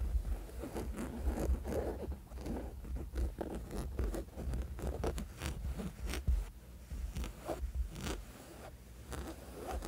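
Fingertips and short nails of both hands scratch the flat, textured surface of a soft, thin woven fabric sleep mask. The result is a steady run of quick, dry scratching and rustling strokes with bright streaks over a low, constant hum.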